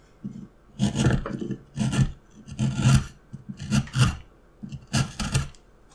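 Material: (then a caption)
Wood. A steel carving knife scrapes and slices around a pattern in a solid, light wooden block. Repeated rasping strokes carry a low, woody body with bright scratchy edges, separated by short pauses.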